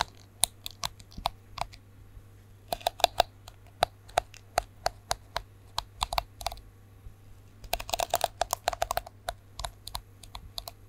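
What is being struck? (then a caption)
Plastic detangling hairbrush. Fingernails scratch and flick the bristles of a plastic detangling hairbrush held to the side of the microphone with its bristles facing out. Sharp, dry clicks and ticks come in irregular runs, with dense flurries around three and eight seconds, each snap bright and dying away almost instantly. A faint, steady low hum runs underneath throughout.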